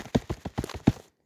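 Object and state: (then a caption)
Paper knocked on. A sheet of paper is knocked on six times in quick succession to imitate knocking on a door, producing light, dull, low thunks with almost no ring, and the imitation is judged as not working.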